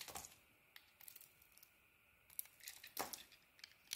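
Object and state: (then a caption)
Bar of soap being carved. A metal blade carves and scrapes slices from a solid, hand-sized bar of soap with a pink textured outer layer and an orange interior, held in one hand. The cuts come as short, crisp, bright scraping and crackling bursts with quiet gaps between them, louder strokes near the start and around the third second.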